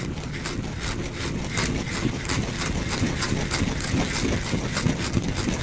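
A small, solid, pale bar of soap is held in the fingers and scratched with fingernails, letting shavings fall below. The result is a steady, dense scratching with quick, irregular, bright scrapes over a low, rough rumble.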